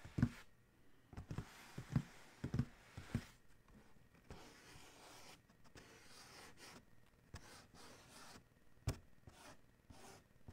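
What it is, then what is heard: Cardboard shoe box. Fingertips and nails rub and scratch across the lid of a large, hollow black Adidas cardboard shoe box. Several soft, low taps with a dull, hollow knock stand out in the first few seconds and once more near the end. Quiet, dry scraping and brushing continues in between.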